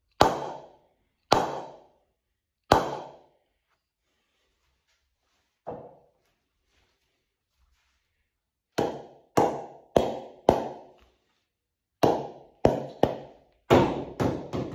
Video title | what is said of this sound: Ping Test | you can hear the Ping there it's brilliant